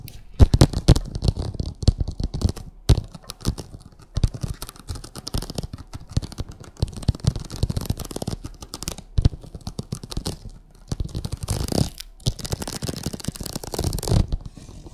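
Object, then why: Vinyl oilcloth tablecloth on a table. Long acrylic nails scratch and tap across a printed vinyl oilcloth tablecloth covering a flat table. Dense, dry scratching and quick soft taps come in bursts, mostly low and muffled with almost no ring. There are brief lulls near 4 and 11 seconds.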